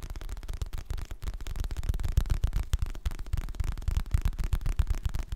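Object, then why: Hardcover paper book. Fingertips and nails tap rapidly on the glossy printed cover and edges of a solid, medium-sized hardcover paper book held in both hands. The taps come in a quick, uneven patter of short, dull, low thuds that die away almost instantly, with little brightness.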